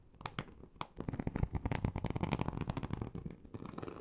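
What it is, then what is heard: Textured leather sheet being scratched. Long acrylic nails slowly and deeply scratch a large, flat, teal snakeskin-embossed leather sheet. A few sparse scrapes in the first second give way to a dense, irregular run of gritty, low, rumbling rasps with quick, crackly strokes on top.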